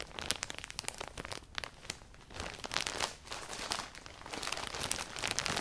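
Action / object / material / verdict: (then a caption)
scrape / plastic poly bag with folded clothing inside / plastic / none. A clear plastic poly bag with folded black clothing inside is grabbed and crumpled with fingertips and long painted nails. It gives a steady run of bright, crisp crinkles and sharp crackles with very little low end. The quick snaps die out almost at once between louder bursts of handling.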